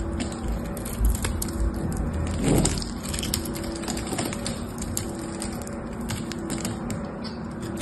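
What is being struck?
Bar of soap cut with a metal knife.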